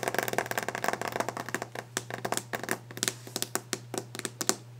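Fingers rapidly scratch, rub and tap the surface of a wooden desk, producing a dense run of short, dry, bright clicks and scrapes. The early part is busier and more continuous, thinning into more separated sharp taps toward the end. A steady low hum sits underneath throughout.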